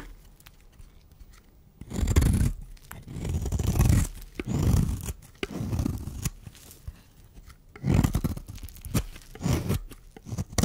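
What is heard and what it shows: A metal blade scrapes along the edge of a solid, dry white bar of soap held in the hand, shaving off powder and flakes. Low, rough scraping strokes come in bursts of about half a second to a second, with quiet gaps between them and a few sharp crisp clicks.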